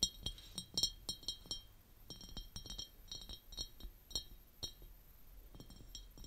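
Long painted nails tap and scratch on the sides of a large, empty, clear glass jar standing lid-off on purple velvet. A quick series of bright, clinking taps rings around 3.8 kHz, each dying away almost at once, with soft scraping between them.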